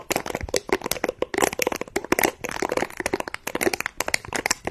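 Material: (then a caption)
Silicone. Fingertips and nails rub and scratch across the soft bristles of a small, round, flat, lime-green silicone scrubber pad held in both hands just above the microphone. The solid, flexible pad gives a dense run of rapid, dry crackling clicks and scratches that each die away almost at once. The sound is mostly mid and bright with very little low end.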